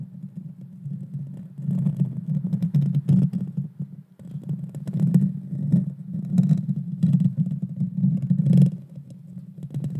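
Long painted fingernails scratch the bare metal mesh grille on the hollow head of a small Blue Yeti Nano USB microphone. A dense, low, rumbling scrape with gritty crackle comes in bursts separated by brief quieter lulls.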